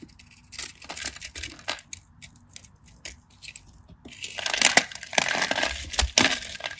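A solid cream bar of soap, held in the palm, is diced and scraped with a craft knife so cubes crumble off. Sparse, crisp ticks and short scrapes come first, then after about four seconds the cutting turns into louder, denser, bright crumbling scrapes with sharp clicks.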